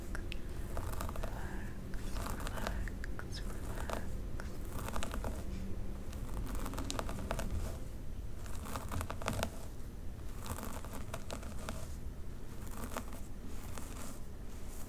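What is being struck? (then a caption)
Synthetic wig hair on a mannequin head. Long pink nails scratch slowly along the part line of a dark synthetic wig on a mannequin head. Soft, dry crinkling and scratching strokes repeat over a steady low rumble, with brief brighter bursts on each stroke and no pauses in the sound.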